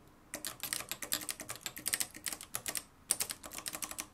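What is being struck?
Plastic and metal manual typewriter.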